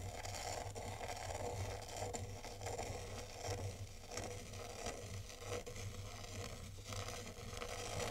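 A black zen-garden rake sweeps in curves across fine white sand in a tray, giving a steady, crisp scraping and grainy rustle. A low hum sits underneath, and brighter swishes rise with each stroke.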